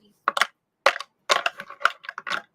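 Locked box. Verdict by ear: Full.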